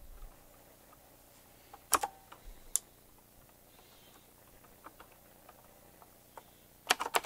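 Fingertips type at a slow pace on a retro typewriter-style mechanical keyboard with round plastic keycaps and metal rims. Soft, scattered key taps are punctuated by sharp, bright clacks around two seconds in, near three seconds, and in a quick burst at the end. Each click is crisp and dies away almost instantly.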